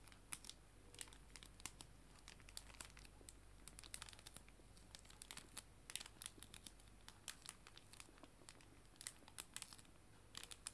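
A clear plastic cello bag holding paper art prints is squeezed and crinkled strongly by hands. It gives a steady run of sharp, bright crackles and snaps over a low background hum, and each crinkle dies away almost instantly.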